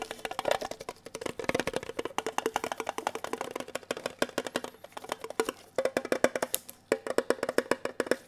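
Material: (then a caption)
Tin. Bare and gloved fingertips tap rapidly on the lid and sides of a small, hollow, red printed metal Kellogg's tin box held close to the microphone. The taps are short and dry with almost no ring, with a hollow tone centered around 500 Hz. They come in quick, uneven bursts with brief pauses between them.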